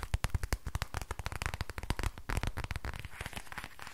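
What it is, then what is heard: Crinkly plastic book. Long nails quickly tap and scratch the surface of a thin, flexible silver-grey plastic book, making a rapid run of sharp, crinkly clicks. Each tap has a soft low thump under a brief bright crackle and dies away almost at once, and the taps blur into a denser scratching patter toward the end.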